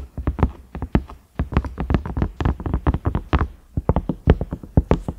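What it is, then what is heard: Silicone microwave lid. Fingertips and nails tap the round knob on a large cream, ridged silicone microwave lid. The result is a quick, irregular run of soft, dull, low-pitched thuds that stop almost instantly, with a brief pause just after the first second.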